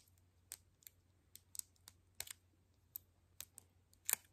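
Long nails tap a palm-sized, hollow white plastic toy capsule ball with seam lines, unwrapped and held in both hands, its contents not visible. It makes a series of quiet, sharp, bright clicks at irregular intervals, each dying away instantly, with the final taps loudest. A faint steady low hum runs underneath.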